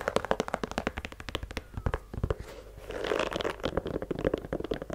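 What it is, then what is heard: Rubber sneaker sole tapped and scratched. Fingernails tap and scratch the rubber sole of a white leather sneaker held sole-out close to the microphone. Quick, dry clicks and soft thuds come in a steady patter with almost no ring. Around the middle, a denser, rasping scrape takes over before the tapping picks up again.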